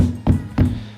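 Two stamps on the floor of a WW2 concrete and metal gun emplacement give low, hollow booming thuds that die away quickly, the floor sounding hollow underneath, possibly over a sunken gun mount hidden from the enemy. Background music plays throughout.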